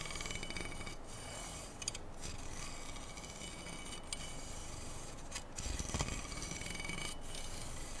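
Fingernails scratch and rub along the length of a black, slotted, hollow aluminum handguard on an AR-style rifle held steady. The result is a continuous dry, rasping scrape with a bright hiss on top and a low rumble underneath. The high hiss briefly drops out in a few short gaps as the strokes change.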